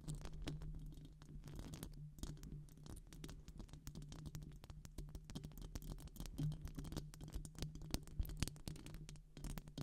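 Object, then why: Metal wire-mesh microphone grille. Long pink acrylic nails rapidly scratch the hollow silver metal wire-mesh head of a microphone. The result is a dense, continuous stream of quick scratchy ticks and crackles over a heavy low rumble, with brief sharp clicks that die away instantly.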